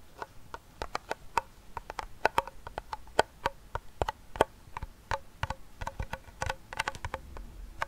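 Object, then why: Small round metal tin. Fingertips and short nails tap and scratch the side wall and base of a small, closed, hollow round silver metal tin with a fidget spinner inside. An irregular run of quick, sharp taps gives short, bright metallic clicks with a faint ring around 625 Hz that dies away almost at once, with soft scratching between them.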